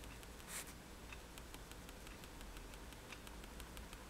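A fineliner pen tip taps dots onto a flat sheet of white drawing paper resting on a table. It makes a steady series of light, bright ticks over a quiet low hum, with one slightly louder scratchy tap near the start.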